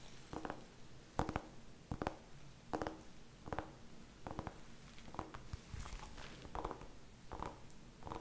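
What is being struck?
Small whole pumpkin.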